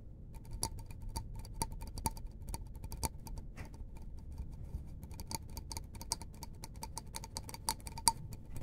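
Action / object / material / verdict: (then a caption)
tap / small disposable paper cup / paper / none. Fingertips tap along the side of a small, hollow, empty white disposable paper cup held in the hands. The result is a quick, irregular stream of soft, dry ticks, each with a short hollow ring near 920 Hz and a bright click on top, over a steady low rumble.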